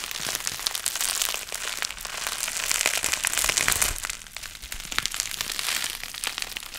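A sheet of clear plastic bubble wrap with air-filled bubbles is held in the hands while the fingers crumple it and pop the bubbles. The result is a steady run of sharp, bright pops over a dense crinkling, crackling rustle with very little low end.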